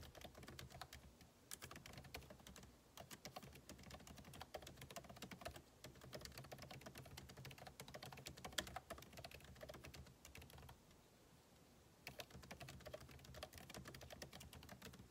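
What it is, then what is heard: Laptop keyboard being typed on. Two hands type steadily with their fingertips on the backlit keyboard of a MacBook Pro laptop, whose plastic keycaps sit in a hollow aluminum body. The result is a continuous stream of quick, crisp, clicky taps. There is a brief quieter pause near the end before the typing resumes.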